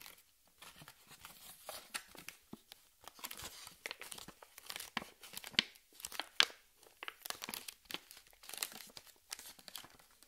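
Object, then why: Plastic blister pack holding ping pong balls. Long red nails tap and scratch the clear plastic blister of a cardboard-backed pack holding six hollow plastic ping pong balls, held in both hands. The result is a quiet, irregular stream of bright, crinkly clicks and scrapes with crisp, dry attacks and almost no low end.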